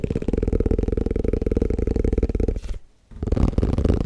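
A plastic tupperware food container is tapped fast and aggressively, making a rapid stream of dull, low, hollow knocks. The tapping breaks off into a brief silence, then starts again just as quickly.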